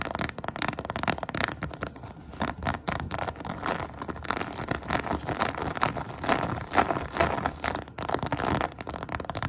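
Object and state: Textured vinyl pouch scratched and tapped with nails.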